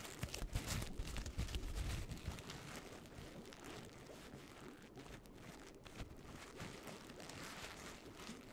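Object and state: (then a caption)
Paper pumpkin crinkled. An orange paper pumpkin with a painted face is squeezed and crinkled with fingers and nails, giving dense, rustling paper crinkles. The crinkling is loudest and heaviest in the first couple of seconds, then settles into a softer, steady crackle with occasional sharper snaps.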